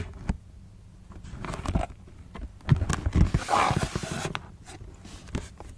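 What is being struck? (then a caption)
Cardboard shoebox. Long nails tap and scratch a closed black cardboard Converse shoebox as it is turned to show its end, side and lid. Soft, dull, low knocks with a short, dry decay come in an irregular patter, broken by a longer, brighter scratching rasp midway through.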